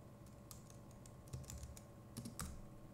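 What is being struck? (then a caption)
Plastic computer keyboard. Fingertips of both hands type rapidly on the plastic keycaps of a compact Logitech MX Keys Mini keyboard. The result is a steady, quiet run of soft clicks with muted low thumps and brief bright tick edges, rising to a few slightly louder keystrokes near the end.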